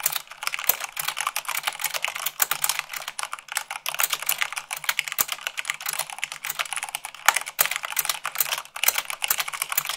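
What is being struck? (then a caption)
Plastic mechanical keyboard keys. A full-size mechanical keyboard with white plastic keycaps on a black base is typed on fast at 98 words per minute by fingertips with long acrylic nails. The result is a dense, steady stream of sharp, bright plastic clicks and taps with no low end. Each tap dies away almost instantly.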